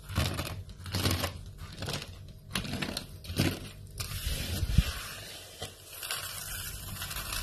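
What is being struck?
Pile of soap flakes.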